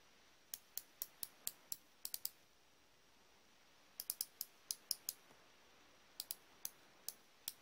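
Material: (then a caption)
Steel. A hand-sized, solid chrome-plated steel combination wrench with a flex-head ratchet end is held in one hand while the fingertips turn and flex the ratchet head. About 21 short, bright, dry pawl clicks are heard in three uneven bursts over a quiet background, each dying away almost instantly.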